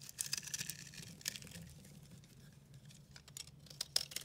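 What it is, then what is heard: Dry soap bar scraped with a blade. A dry, yellow-green mottled bar of recycled soap is held in the hand and scraped and carved with a metal utility-knife blade, and powdery crumbs fall away. Quiet, bright, gritty scraping and crisp little ticks come in bursts, with sharper clicks near the start and end over a faint low hum.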